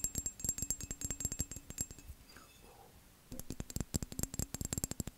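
A tall, hollow, empty cobalt-blue vase of textured glass is tapped and scratched fast with fingernails along its raised pattern. Around thirty quick, sharp clicks with a short bright glassy ring come in dense bursts, then a brief lull of faint scratching before the rapid tapping resumes.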